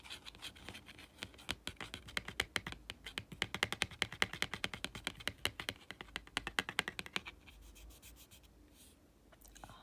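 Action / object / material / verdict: tap / laminated cardboard board book / laminated cardboard / none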